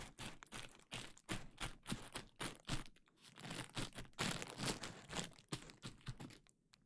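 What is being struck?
Plastic bubble wrap sheet.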